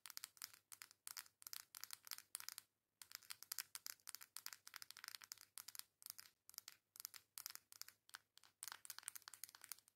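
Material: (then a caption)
Cardboard. Long acrylic nails tap and scratch quickly across the flat back of a coral cardboard face makeup palette. The result is a quiet, bright run of dense, dry clicks and scratchy bursts with almost no ring, broken by a brief silence near the three-second mark.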